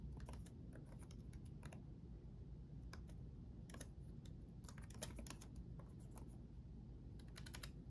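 Both hands type rapidly with their fingertips on the backlit chiclet keyboard of a black laptop, which has plastic keycaps on a solid chassis. Quick, bright plastic key clicks come in irregular bursts over a steady low rumble that fills the quiet background.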